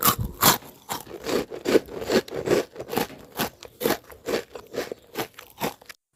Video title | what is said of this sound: วิธีทำ #ข้าวแต๋นน้ำใบเตย สีเขียวเข้มสวย ข้าวฟูกรอบทุกเม็ด สูตรข้าว 1 กิโลกรัม เมนูข้าวแต๋น | กรอบมากค่ะอร่อยลงตัวสุดๆไปเลยตัวแผ่นข้าวแตนก็จะมีความกรอบแล้วก็ฟูทุกเม็ดเลยค่ะ